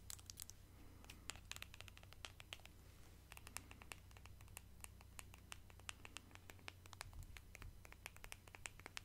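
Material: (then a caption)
Plastic. Long decorated nails scratch and tap on a small pale pink plastic cosmetic squeeze tube with a cap. The result is a quiet, dense stream of short, crisp clicks and scratches, with a steady low hum underneath throughout.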